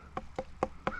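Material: Fruit.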